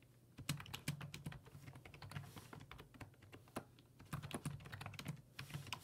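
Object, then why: Plastic computer keyboard keys. Fingertips type on the hollow plastic keys of a black plastic full-size computer keyboard resting on a wooden desk. A quick, uneven run of repeated taps is heard, each keystroke giving a short clack with a low hollow thump and a bright click that dies away almost at once.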